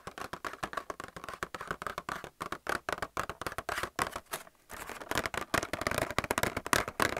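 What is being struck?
Clear plastic blister pack holding plastic palettes.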